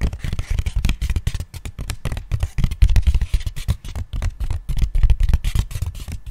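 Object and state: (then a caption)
Flat cardboard box. Fingertips and nails rapidly tap and scratch the surface of a small, thin, flattened brown corrugated cardboard box held upright in both hands close to the microphone. The result is a dense, irregular run of dull, low, boomy thuds with very short decay, mixed with faint dry scratching.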